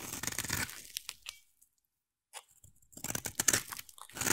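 A utility knife blade scrapes and carves a solid, hand-sized oval bar of yellow soap, cutting off shavings. Bright, crisp crunching and tearing scrapes come in dense bursts, stop for a short silence, then return louder.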